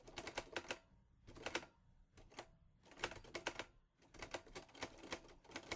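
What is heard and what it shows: Fingertips type on the keys of a mint-green Olivetti Lettera 22 portable typewriter with a metal body and paper loaded. Bursts of quick, bright, sharp clacks come in runs separated by brief quiet gaps. Each strike stops almost at once with little ring.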